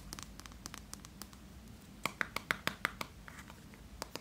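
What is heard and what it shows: A small yellow plastic Play-Doh tub with a red plastic lid, closed and probably full, is turned in the hands while fingertips and nails tap and scratch its side and lid. Light scratchy ticks give way to a brisk run of sharper, hollow plastic clicks with a short ring around 1.5 kHz, then softer taps. Each click is crisp and dies away almost instantly over a faint background hiss.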